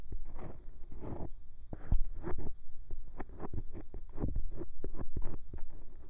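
The scoop tip of a bamboo ear pick scratches and scrapes inside the soft, hollow ear canal of a white silicone binaural microphone ear. It makes a dense run of close, muffled scraping and rubbing strokes, heavy in low rumble with almost no bright content.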